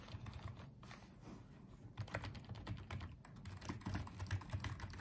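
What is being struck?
Small plastic keyboard.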